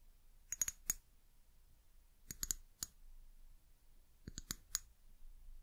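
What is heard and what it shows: Long nails tap a small amber glass eucalyptus oil bottle with a paper label and white plastic cap. The taps are quick, bright clicks with a high glassy ping that dies away almost instantly. They come in three short clusters separated by quiet pauses.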